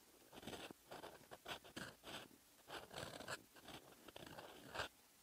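A metal fountain pen nib held in the fingers scratches across a lined paper notebook page, writing in red ink. Short, dry scratching strokes come in uneven bursts with brief pauses between them. The sound is quiet and bright, with a crisp, papery rasp.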